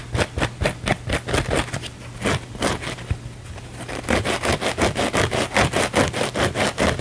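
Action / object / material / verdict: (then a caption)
scrape / cellulose kitchen sponge with scouring pad / cellulose, abrasive pad / none. A small blue cellulose kitchen sponge is held in one hand while the fingernails of the other hand scratch fast across its scouring-pad surface. The result is a rapid run of rough, bright scraping strokes, briefly softer in the middle before picking up again, over a steady low hum.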